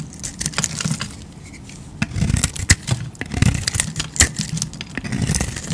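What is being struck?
Bar soap scraped with a knife blade.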